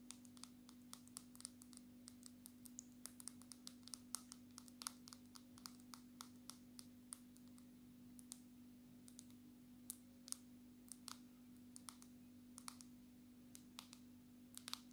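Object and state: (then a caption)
Smartphone glass screen tapped with nails. Long natural nail tips of both hands tap rapidly on the glass screen of a black smartphone. The result is a quiet, steady stream of short, sharp, bright clicks over a constant low hum.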